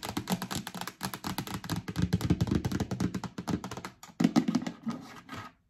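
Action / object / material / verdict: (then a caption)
scrape / plastic storage bin / plastic / none. Long nails scratch and click along the ribbed rim and base of a hollow yellow plastic storage bin. A rapid stream of short, dull, hollow taps and scrapes sits mostly in the low range, with a brief pause near four seconds before a louder burst of clicks.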